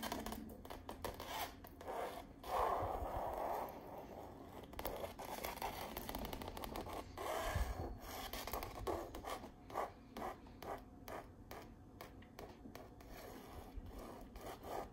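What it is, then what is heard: Painted canvas wall art. Long purple nails scratch and trace across the canvas weave of a painted autumn tree landscape on stretched canvas wall art. The sound is a dry, rasping scratch that comes in many short strokes and bursts, with louder stretches near the start and middle.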